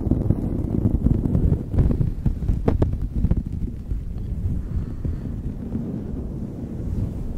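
Fingertips and long nails scratch a light blue knit beanie fitted over a microphone. The result is a dense, muffled, low rumbling rustle, with a few sharper, brighter scratches around the middle before it settles into a steadier, softer scraping.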